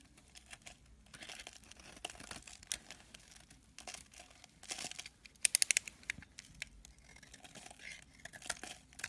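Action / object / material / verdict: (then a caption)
scrape / bar of soap / soap / none. A small metal blade scrapes and shaves a solid oval white soap bar held in a hand with long dark nails. Soft, dry, crinkly scraping sounds, mostly bright and high, come in uneven strokes. A quick cluster of sharper, louder clicks cuts in just past the middle.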